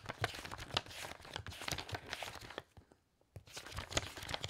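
A thick bundle of aged, loose paper pages is held upright on the stack and riffled with the thumb and fingertips, like shuffling cards. It produces a fast, dense run of crisp, bright papery flutters and crackles that stop for a brief quiet gap about two-thirds of the way through, then resume.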